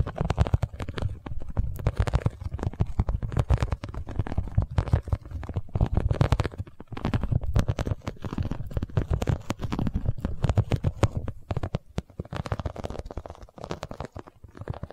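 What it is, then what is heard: Vinyl cosmetic pouch, tapped and scratched. A holographic, iridescent vinyl cosmetic pouch is held in both hands and tapped and scratched with long nails. The result is a dense, continuous stream of quick taps and crinkly scratches, mostly low and dull in tone, with short lulls around the 7 and 12 second marks.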